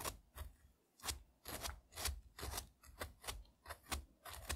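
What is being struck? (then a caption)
Frozen strawberry. A single whole frozen strawberry, solid and frost-covered, is held in the fingertips while a thin metal tool scrapes its flesh, shaving icy red crumbs onto a dark mat beside other untouched fruit pieces. About a dozen short, rough, gritty scrapes are heard, each a quick burst with a low thud and a bright, crunchy hiss that stops almost at once.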